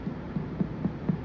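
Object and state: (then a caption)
Tympanic (free) Traube's space on abdominal percussion. Percussion over Traube's space (the gastric fundus) during an abdominal exam gives five evenly spaced, soft taps, each a short, low, hollow resonance around 150–200 Hz. The note is tympanic, showing the space is free and holds only the air of the gastric fundus. This is a normal finding, unlike the duller, more muffled sound over the liver.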